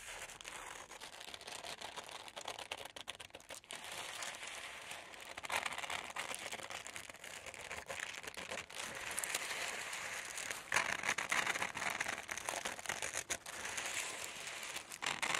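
A large, thin red-orange tissue paper sheet spread on a table is lifted by one hand and cut with metal scissors. Steady bright crinkling and rustling runs throughout, with quick crisp snips of the blades through the paper. The sound has almost no low end and grows slightly louder and busier toward the end.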